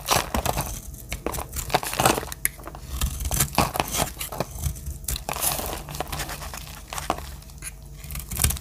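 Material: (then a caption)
Soap. A metal utility-knife blade shaves dry slices and flakes off a palm-sized lavender solid bar of soap. The result is a steady run of crisp, crumbly scraping and crackling strokes, with bright, dry texture and a soft low rumble underneath.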